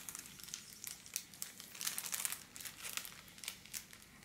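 A thin sheet of pink holographic foil wrapping paper lying on a table is scratched, rubbed and crinkled with long black-polished nails and fingers. It gives a quiet, bright, crisp crinkling and crackling in rapid, uneven bursts, each snap dying away almost instantly.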